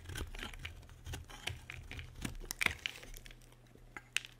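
A metal utility blade carves a solid, dry white bar of soap held in the hand, making a series of crisp, dry scraping and cutting strokes. The sound is bright and crinkly, with a few sharper clicks toward the end over a faint low hum.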